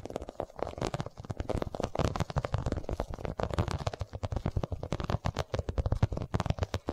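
Long nails tap rapidly on an iridescent, quilted holographic vinyl cosmetic pouch held upright beside the mic. The result is a dense run of short, dull, low thumps with a soft crackle, each dying away almost at once.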